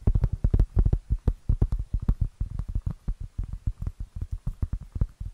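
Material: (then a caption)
Cork. Long nails tap and scratch across a round, flat, solid cork board about the size of a plate. The result is a rapid, uneven run of soft, dull thuds, deep and muffled, each dying away almost instantly with no ring.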